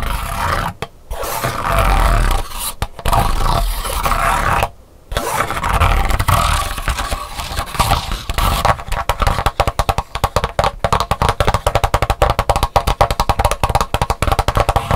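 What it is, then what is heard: Pleated paper fan scraped. A pink plastic stick is scraped across the pleats of a flat, thin, hollow-pleated white paper fan lying on a wooden table, while long pink nails hold the fan. Dry, papery rasping strokes with brief pauses fill the first half, with a low rumbling body and a tone near 800 Hz. After about 8.5 seconds, it shifts to a fast, steady run of crisp clicking ticks over the ridges.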